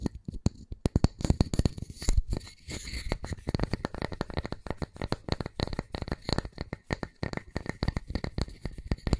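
A solid round wooden disc, held flat and then gripped in both hands, is scratched and tapped with fingertips and nails. Dense, rapid, dull low knocks and brief scratchy taps run continuously with almost no ring.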